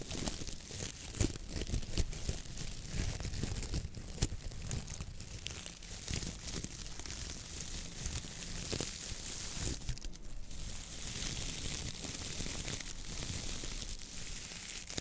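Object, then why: Coir-bristle dish brush. Long fingernails grip, squeeze and scratch through the brown coconut-fiber (coir) bristles of a wooden-handled dish brush while the other hand holds the handle. This produces a steady, dense crackling and crinkling texture with bright, scratchy fiber noise over a low rumble, with no talking.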